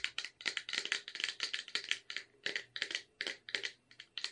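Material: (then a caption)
Tin. Long red nails tap and scratch the sides of a cylindrical red Caprice wafer tin with a clear plastic window, full of wafer rolls. About twenty quick, bright clicks and short scrapes come in an uneven rhythm. Each one is dry and stops almost at once, with little low end.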